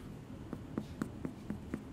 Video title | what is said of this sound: Brad and Claire Make Sourdough Bread - It's Alive - Bon Appétit | you can give it a little knock and if it sounds Hollow I think that means that like the bread inside is cooked and set